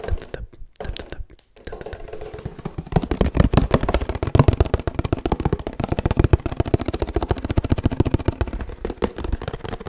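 A 1 L Oddly Good Barista oat milk carton made of laminated paperboard, with a plastic cap and its fill not visible, is tapped with the fingertips. Sparse soft taps in the first seconds give way to a fast, steady stream of dull, low, hollow thuds. Each tap is short and dry, with almost no ring and very little brightness.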